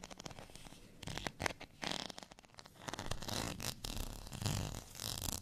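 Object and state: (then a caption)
Textured plastic rice paddle being scratched. Long natural fingernails scratch along the ridged surface of a beige textured plastic rice paddle, a thin, solid, flat spoon held in the hand. The result is rapid, raspy, zipper-like scraping in uneven bursts, bright and crackly on top with a soft low rumble underneath.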